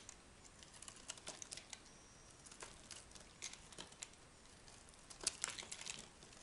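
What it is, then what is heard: Dry bar soap being scraped. A small metal knife scrapes and carves a hand-sized, solid orange-and-white striped bar of dry Dura soap held in the palm, sending curls and flakes falling off. The result is a quiet run of short, dry, crisp scraping crackles and ticks, bright and high with almost no low end, each one dying away instantly.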